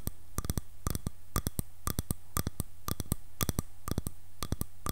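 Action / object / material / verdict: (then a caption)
tap / wooden hairbrush back / wood / none. Long nails tap and scratch the back of a light, solid wood hairbrush held upright. They make quick, crisp clicks in tight rhythmic clusters, each click dry and short with almost no ring, over a faint low hum.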